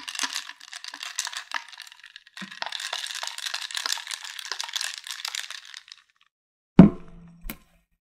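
A medium glass jar with a bamboo lid, partly filled with white milk or powder, is held in both hands, shaken and tapped with fingertips. About six seconds of dense, bright crackling and rustling give way to a brief silence. Then one loud knock with a short low ring and a second softer tap follow.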